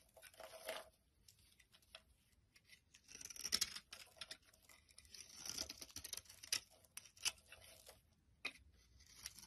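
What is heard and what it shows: A utility knife blade scrapes crumbly flakes off a solid green olive oil soap bar held in the hand. The result is a quiet run of dry, bright, crackly scraping and crumbling with short bursts and pauses between strokes, and almost no low end.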